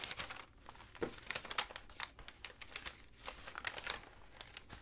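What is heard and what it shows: Fingertips with long nails rub, scratch and fold a stack of thin, dry, tea-stained, crinkled paper sheets, then turn them over. The result is a steady run of bright, dry crinkling with quick, sharp crackles that die away almost instantly.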